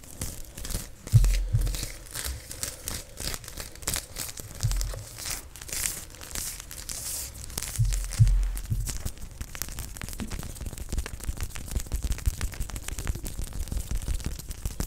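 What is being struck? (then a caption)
Vinyl sewing tape measure. A long, thin, flexible white vinyl/fabric sewing tape measure with printed numbers is held bunched in both hands close to the mic while fingertips scrunch, rub and scratch along it. This gives a steady stream of crinkly, scratchy rustling with a bright hiss. Deeper handling thumps come through near the start and again around the middle.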